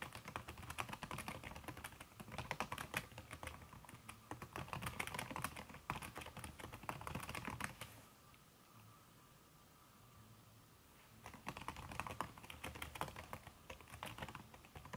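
Fast fingertip and long red nail taps on a backlit aluminium laptop keyboard with a red silicone key cover, making a dense run of soft, muffled clicks. The typing stops for about three seconds in the middle, leaving faint background hiss, then resumes at the same quick pace.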